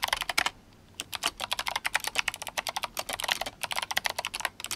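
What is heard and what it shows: Fingertips of both hands type rapidly on a compact RGB-backlit GMMK Compact mechanical keyboard with Kailh Box White switches and plastic SA keycaps in yellow and blue. The result is a fast, bright stream of sharp, clicky keystrokes that decay almost instantly, with a brief pause early on before the typing resumes.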